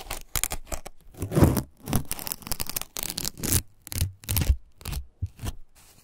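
Fingertips peel and tear fibrous strips lengthwise from the green husk of a single fresh ear of corn. A rapid series of short, crisp tearing and rustling bursts follows, each with a dry, bright crackle over a soft low thump, separated by brief silences.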